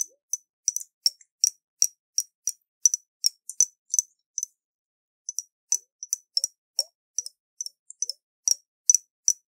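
Fingernails tap on a round, hollow glass jar with a metal lid and water inside, held in the hands. About 29 short, bright clicks with a high, glassy ping come at an uneven pace, with a brief pause near the middle. Each tap dies away almost instantly.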